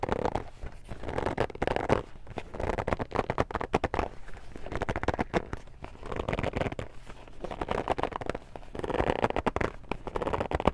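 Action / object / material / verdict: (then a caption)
scrape / cardboard game box / cardboard / none. Long fingernails grip and scratch along the printed surface of a closed, medium-sized, hollow cardboard Family Feud board game box. Dense, dry crackling scrapes come in repeated swelling waves, with a hollow, low-mid body and little high brightness. Each scrape stops short with almost no ring.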